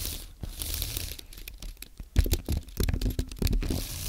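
Fingertips type on a compact white aluminium and plastic Apple keyboard, producing irregular soft clicks and taps with a low thump under each keystroke. Louder clusters of presses come in the second half, with quick, short-lived strikes that don't ring.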